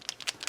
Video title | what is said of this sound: How to fix model paint separation | now it's starting to mix up